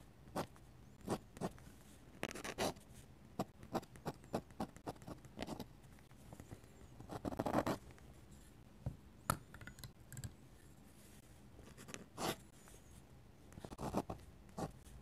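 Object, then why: Metal dip-pen nib on a paper sketchbook page. A metal-nib dip pen scratches short hatching strokes across the paper page of an open sketchbook. The strokes come as quiet, dry, crisp scratches, each dying away at once, with brief pauses between them and a longer, denser flurry of scratching near the middle.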